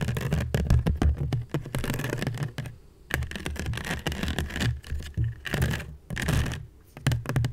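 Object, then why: Woven seagrass basket. Long nails scratch and tap a hollow woven seagrass basket of natural fiber, making dense bursts of quick, dry clicks and rustling scratches with a heavy low body and little brightness. The bursts come in quick runs with brief quiet gaps near three and six seconds.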